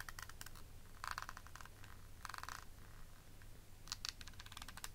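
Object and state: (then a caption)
Clear plastic eyeshadow palette case. Long nails tap and scratch the faceted lid of a small, rectangular, hollow clear plastic eyeshadow palette compact with beaded edges. Quiet bursts of rapid, crisp clicking and scraping sit over a steady low hum, with bright, brittle ticks that die away almost instantly.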